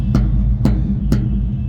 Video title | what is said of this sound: ৪০ ফুট কন্টেনারের বিস্তারিত বিবরণ এবং বর্তমান মূল্য। 01711 05 1154 / 01715 005706, www.cflb.com.bd | আওয়াজটা যদি এরকম না হয় ঝনঝন আওয়াজ করে তাহলে সেক্ষেত্রে এই ছাদের অবস্থা ভালো না